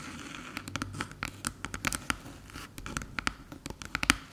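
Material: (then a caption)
Aluminium. Long silver nails rapidly tap and scratch the top surface of a small, flat, hollow silver aluminium USB hub resting on a dark table. About twenty sharp, bright clicks with very short ring stand out over a steady bed of soft scratching.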